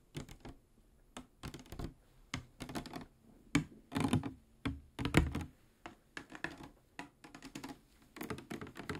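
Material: Plastic.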